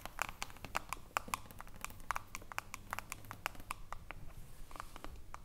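Long nails tap rapidly and irregularly on the aluminium screw lid of a small glass jar of cream. Each tap is a short, bright click with a faint metallic ring that dies away almost instantly. A low, steady background rumble sits under the taps.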